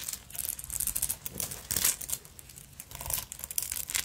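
A black beaded sequin fabric purse with a metal clasp frame is held in the hands while long nails scratch and tap across its beads. This makes dense, bright, crinkly rattling with quick clicking taps that swell and fade in short bursts, mostly in the high range with little low end.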